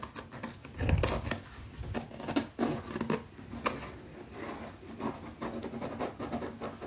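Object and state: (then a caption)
Leather zip pouch. Long nails scratch and tap quickly along the top edge of a small, closed black leather zippered pouch held flat. The result is a run of dry, soft clicks and scratchy rubbing, with a duller, low thump near the start and brief, short-lived taps throughout.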